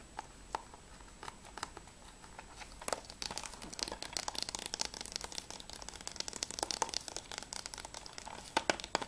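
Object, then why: Hard plastic game case. Fingernails tap and scratch along a closed hard plastic PS3 game case for Mirror's Edge as it is rotated from front to spine to back. Sparse, light clicks build after about three seconds into dense, rapid, bright tapping and scraping with sharp, dry transients and almost no low end.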